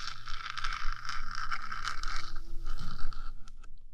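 Long nails on one hand scratch and tap the top of the hollow metal box of a 3Dio microphone, making a dense, continuous scraping rustle. Quick ticks are mixed in under a steady low hum, with a bright band running through the scratching.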